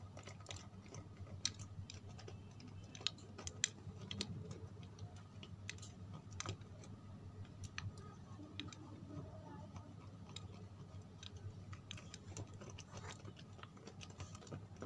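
Long red fingernails tap and scratch a small, solid white bar of soap held in both hands. Quiet, dry, sharp clicks and light scratchy ticks come at irregular intervals, each dying away almost instantly. A steady low hum sits underneath throughout.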